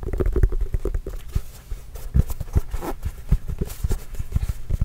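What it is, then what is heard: Leather basketball. A full-size orange signed Spalding leather basketball with a Trail Blazers logo, hollow and inflated, is scratched and tapped with the fingernails. It gives a steady patter of deep, muffled thumps that die away almost instantly, with softer scratchy brushing between the taps.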